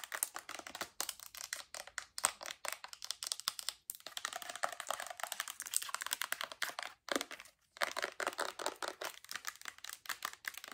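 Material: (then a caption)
Plastic. A full Bath & Body Works lotion bottle, white plastic with a gold cap, is tapped on the cap top and body with long acrylic nails. Fast, crisp clicks with bright, papery scratching come in dense bursts with brief pauses, each tap short and dry.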